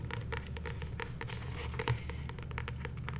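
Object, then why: Paperback book with glossy card cover. Long nails tap and patter on the glossy card front cover of a paperback copy of The Power of Now held upright. The result is a quick, continuous run of light, dry clicks over a steady low hum, with one slightly louder tap near the middle.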